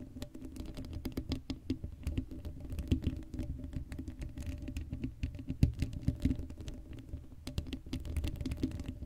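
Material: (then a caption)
Metal mesh. Long blue acrylic nails on both hands scratch across the hollow black woven metal mesh grille of a Blue Yeti microphone head with no foam cover. The result is a dense, continuous patter of quick, dry scratches and tiny taps, heavy in low, boomy rumble, with a faint steady hum underneath. Each scrape dies away almost instantly.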